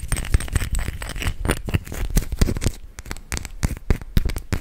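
Fingernails tap and scratch a small clear glass perfume bottle, filled with gold-colored liquid and topped with a metal-trimmed cap, held close to the microphone. The result is a rapid, irregular stream of short, dry clicks and scrapes with bright edges over a heavy, low close-up thump.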